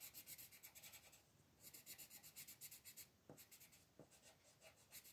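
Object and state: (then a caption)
Pencil coloring on paper. A colored pencil is rubbed firmly across a thin paper mandala page on a table in rapid coloring strokes while the other hand holds the page. It makes bright, scratchy rasping in quick bursts of about four strokes per second, with brief pauses between runs and a couple of soft low taps.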